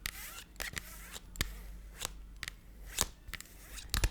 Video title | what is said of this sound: ASMR * Tapping & Stories for Sleep * Unique Cell Phone Cases! | it's got this like squeaky scratchiness. It's like a plastic that's got little tiny ridges.